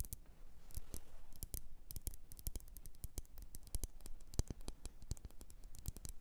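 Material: Glass.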